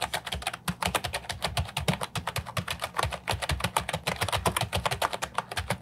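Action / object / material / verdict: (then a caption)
tap / plastic keyboard with round keycaps / plastic / none. Fingertips type steadily on an Ajazz 308I, a compact hollow plastic keyboard with round typewriter-style keycaps. The result is a rapid, continuous stream of short, clacky taps, each with a low hollow thud underneath and a bright click on top that dies away almost at once.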